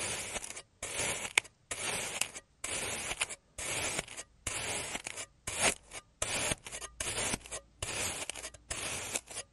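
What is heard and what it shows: A clear plastic knife cuts across a solid oval of blue kinetic sand that has already been sliced, crosshatching it on a green surface. Each cut makes a bright, gritty scraping rasp, and the strokes repeat about once a second with brief silences between them.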